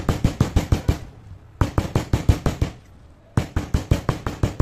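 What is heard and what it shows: A stone pestle held by the fingertips pounds and grinds grey powder and small crumbs of crushed slate pencils in a stone mortar, beside an untouched bowl of whole slate pencils. Twenty-one short, deep, dull thuds land in three quick bursts with brief pauses between them, each hit dying away almost at once with a faint gritty crunch.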